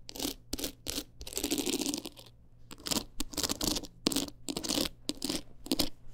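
Long acrylic nails quickly scratch a small, hard-shelled teal clutch wallet covered in rows of plastic rhinestones and beads. The result is a run of short, bright, gritty scratching bursts with brief pauses between them, ending sharply with no ring.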